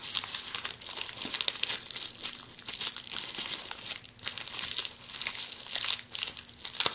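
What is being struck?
Plastic bubble wrap.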